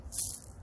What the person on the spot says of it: it makes a better and different sound when you shake it